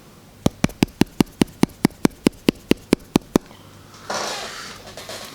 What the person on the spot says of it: sounds a little bit cheap